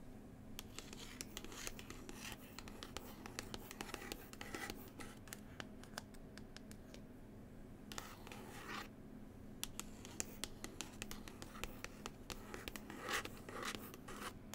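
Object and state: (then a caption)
Glossy paper book cover. Long pointed nails scratch and tap across the glossy printed paper cover of a large, solid book from New Zealand. Quiet, dense, crisp scratching is broken by many sharp, short taps, with a steady low hum underneath.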